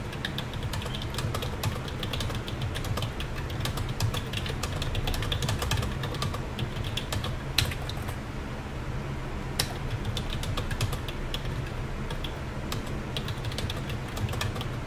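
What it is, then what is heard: Plastic computer keyboard being typed on. Fingertips of both hands type steadily on a black plastic computer keyboard with hollow keys, producing a dense run of quick, short clicky taps. A steady low hum runs underneath, and a few sharper, louder clacks stand out near the middle.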